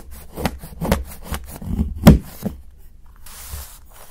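A steel knife blade chops shavings off the edge of a solid dark chocolate bar held by fingertips. It makes a series of short, dull, low thuds with crisp scraping snaps, the loudest near the middle. A soft, bright rustle follows near the end.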